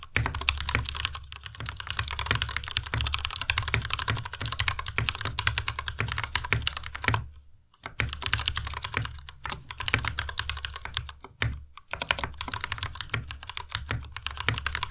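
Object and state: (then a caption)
Plastic mechanical keyboard typing. Both hands type continuously with fingertips on a compact white Ducky Miya Pro mechanical keyboard with white plastic keycaps and Cherry MX Red switches. Dense, rapid, bright plastic clacks ride over a low thump from each keystroke, with brief pauses near 7.5 and 11.5 seconds.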